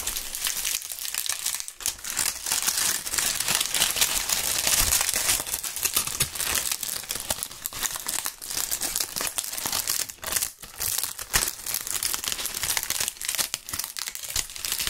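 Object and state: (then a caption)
Dry maple leaves being crushed. Bunches of dry brown maple leaves are squeezed and crumpled by gloved fingertips close to the microphones. Dense, bright crackling and crinkling runs without a break for the full length, swelling and easing as the leaves are worked. The leaves crunch apart into brittle fragments.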